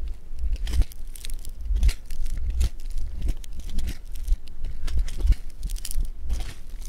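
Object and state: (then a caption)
Floam (polystyrene-bead clay) being squeezed. Fingertips and thumbs press and squeeze a solid lump of blue polystyrene-bead foam clay (floam) against a table. Dense bursts of bright, crunchy crackling and crinkling come in waves, over soft low thumps from the pressing.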